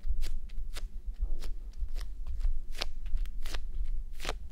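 Fingertips and long nails scratch and rub a red, clear plastic gel bead eye mask resting on a mannequin head. Short, bright crackling scratches come in quick, irregular bursts over a steady low rumble.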